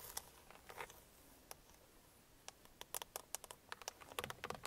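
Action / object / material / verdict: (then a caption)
tap / hard plastic car steering wheel centre pad / hard plastic / none. Long painted nails tap and scratch the hollow, hard plastic centre pad of a car steering wheel. About eighteen sharp, bright clicks ring out with almost no decay, scattered at first, then a quiet gap near the middle, then a faster cluster toward the end, with faint scratching and little low end.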